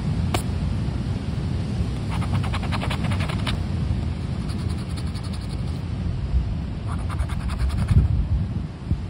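A thin paper Mina de Ouro lottery scratch card lies on rubber flip-flops on beach sand, held flat by fingertips while a black plastic disc scraper held in the other hand's fingers scratches off its latex coating. Bursts of bright, rapid scratching rise and fall over a steady, loud low rumble, with a brief sharp click near the start.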